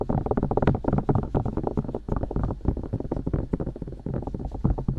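Long nails and fingertips rapidly poke and tap the silicone ears and ear canals of a binaural microphone. The result is a dense stream of muffled, boomy thumps with brief brighter clicks, mostly low in pitch, each dying away almost instantly.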